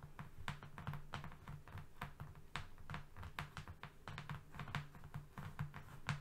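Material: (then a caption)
Cardboard. Both hands tap fingernails quickly on a flat brown cardboard strip, producing a rapid, uneven stream of short, dry clicks. The taps die away almost instantly over a steady low hum.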